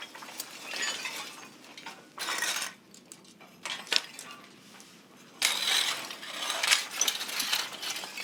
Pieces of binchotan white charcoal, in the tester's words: 叩くと金属音が鳴るほど硬いのが特徴